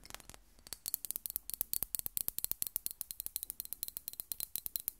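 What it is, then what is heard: Glass perfume bottle. Long nails rapidly tap and scratch the flat glass faces of a rectangular Miss Dior glass perfume bottle with a ribbon bow, partly filled with pink liquid, held up in the air. About 34 quick, crisp clicks sound at an uneven pace, each bright and high with almost no ring. A faint low hum sits under the quiet taps.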